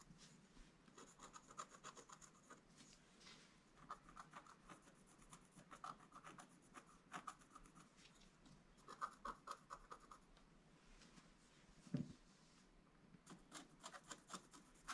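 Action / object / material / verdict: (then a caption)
scrape / black-coated scratch-art card and wooden stylus / coated card / none. A wooden stylus scratches lines into a flat, black-coated scratch-art page, making soft, dry rubbing and rasping strokes in quick, uneven bursts. The scraping stays quiet and gritty throughout, with a sharper, louder stroke near the 12-second mark.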